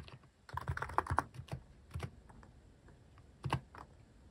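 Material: Plastic.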